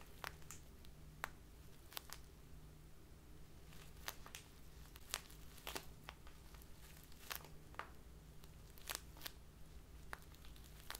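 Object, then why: Plastic bag of loose tea. A small crinkly plastic bag full of loose tea, held in both hands, is squeezed and crinkled by fingertips with long dark-painted nails. Quiet, bright crackles and sharp snaps come in irregular bursts over a steady low hum throughout.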